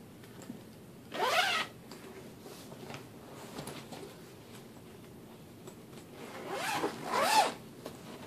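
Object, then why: Metal zipper on a fabric suitcase. A hand pulls the metal zipper around the lid of a large black fabric suitcase, then opens the case, which is empty inside. Two main bursts of bright, raspy zipping stand out: a short run early on and a longer, rising run near the end. Quiet background hiss fills the gap between them.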